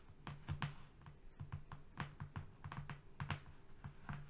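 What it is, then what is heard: Flat cardboard sheet. Fingernails on both hands tap and scratch quickly on a flat brown cardboard strip lying on a rug. The result is a fast, uneven run of dull, low-pitched taps, each with a faint bright click and a very short decay, over a soft scratchy hiss.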